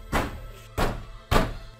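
A bulging plywood bedroom wall of a bungalow in Basey, Samar is banged three times, giving dull, low thuds with a short clinking rattle trailing after each one. The rattle comes from something hidden inside the wall, which was later cut open with a knife and hammer and spilled out a large pile of coins.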